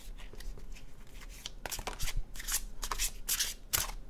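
An illustrated paper cardstock tarot deck is overhand shuffled in both hands. Soft, dry card flicks and rustles come first, then louder, brighter bursts of cards slapping and sliding together over a low background rumble.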